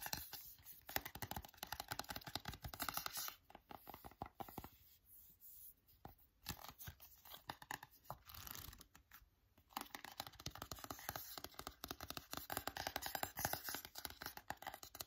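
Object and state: Paperback book.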